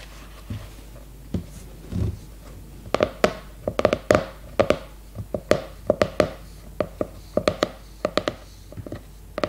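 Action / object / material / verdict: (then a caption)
tap / hardcover notebook, glossy cardboard cover / cardboard / none. Long red nails tap and knock on the glossy cardboard cover of a new leopard-print hardcover notebook, which is held upright in both hands. About two dozen short, dry, hollow taps come in quick irregular clusters, each with a brief mid-pitched ring that fades almost at once against a quiet background.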